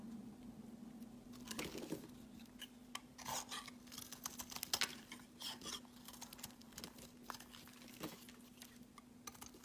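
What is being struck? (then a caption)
Solid soap bar cut with a blade. A hand-held, pale green rectangular bar of solid soap has thin slices cut from it with a metal utility blade. The result is a quiet, steady run of crisp, bright scraping and crackling cuts over a faint constant low hum.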